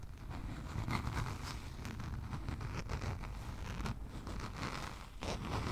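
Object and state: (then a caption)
Spiral notebook cover scratched with nails. A small spiral-bound notebook with a lime green cardboard cover is held horizontally above the mic and scratched with long nails. The result is a steady, dense scratching and rustling with a heavy low rumble underneath and faint bright flecks on top, briefly dipping near the five-second mark before picking up again.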